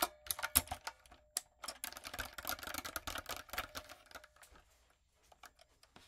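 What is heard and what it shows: Fingertips and long acrylic nails type on a light-up, typewriter-style plastic mechanical keyboard with round plastic keycaps. Bright, crisp clicks and clacks come in a dense rapid flurry, with a faint steady tone underneath. The typing then thins out into a few sparse taps at the end.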